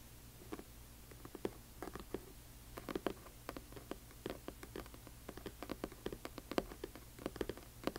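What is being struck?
Hardcover book with paper dust jacket.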